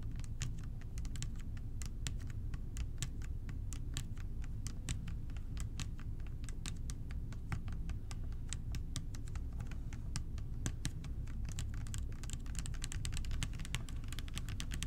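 Fingertips tap the body of a clear plastic bottle, partly full of purple liquid and held close, producing a rapid, continuous stream of light, crisp clicks. A steady low rumble sits beneath the taps throughout.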